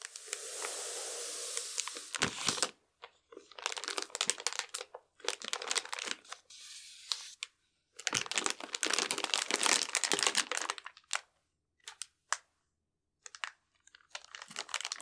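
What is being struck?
Cardboard box sealed in plastic film.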